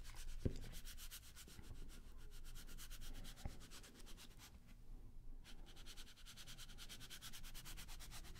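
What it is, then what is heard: Paper playing card deck. A small deck of coated-paper playing cards is held in the hands close to the microphones while fingertips rub and slide the cards against each other. The result is a soft, scratchy, sanding-like rasp in quick, rhythmic strokes over a low rumble, with bright hiss on each stroke. A couple of sharp clicks come early, and there is a brief hush near the five-second mark.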